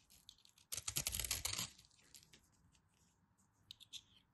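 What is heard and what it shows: A craft knife scrapes and carves a solid white bar soap held in the hands, shaving it into powdery flakes. A dense burst of bright, crisp scraping fills the first second and a half of the middle of the clip. It then thins to sparse, quiet scratches with a few short flicks near the end.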